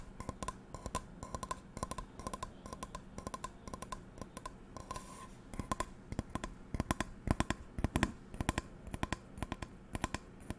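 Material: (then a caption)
Metal. An empty, medium metal non-stick frying pan with a black coating and a textured steel base is held close to the mic while long nails tap and scratch its base. Quick, dry clicking taps come in irregular runs with soft scratching between them. The taps grow louder and sharper in the second half, with little ring after each hit.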